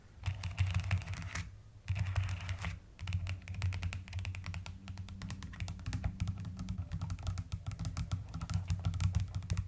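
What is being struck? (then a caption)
Plastic mechanical keyboard keys. Fast typing with long nails and fingertips on a mechanical keyboard with a white case and pastel plastic keycaps gives a dense stream of short, clicky taps over a deep, soft low-end thock. The rapid keystrokes run almost continuously, pausing briefly twice before carrying on.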